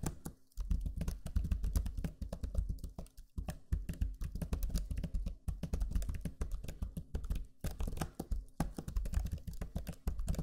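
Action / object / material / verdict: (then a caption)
tap / plastic laptop keyboard keys / plastic / none. Fingertips type steadily on the low-profile plastic keys of a backlit black Lenovo Legion 5 laptop keyboard. The result is a dense run of quick, soft, low clicks and taps with a few brief pauses.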